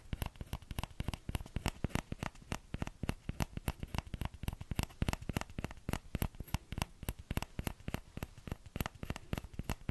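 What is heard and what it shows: Fingertips tap the hollow bowl of a small orange plastic ladle in a quick, steady patter of soft, dull knocks. Each tap is short and low-weighted, with a faint bright click on top and almost no ring.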